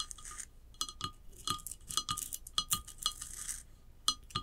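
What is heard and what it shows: Long acrylic nails tap and scratch a tall, hollow ceramic vase lying on its side, with a glossy glaze and a rough unglazed band. Quick, bright clinks with a short, high ring are heard, along with a steady lower tone. Soft, hissy scratching fills the gaps between the taps.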